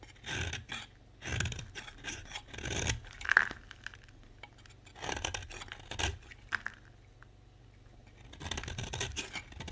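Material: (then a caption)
Soap. A box-cutter blade scrapes and carves the edge of a solid oval orange bar of dry soap. Dry, crisp scraping strokes come in separate bursts with quiet gaps between them. A short, sharp tick stands out partway through.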